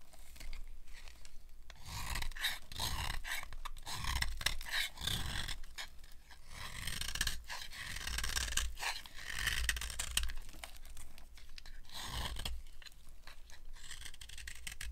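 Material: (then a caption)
Soap. A narrow, solid, dry white cream soap bar is held in the hand and carved with a knife blade, scraping off shavings. Repeated dry, crunchy rasping scrapes are heard, bright with a strong low rumble underneath.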